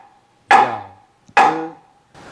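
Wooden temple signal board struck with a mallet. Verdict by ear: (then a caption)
Solid. A borrowed mallet strikes a heavy solid-wood signal board of about 5–6 kg, used at a temple to announce meals. Two loud, resonant knocks are heard, each with a clear woody tone near 790 Hz that rings briefly and fades. Light strikes produce a very loud sound.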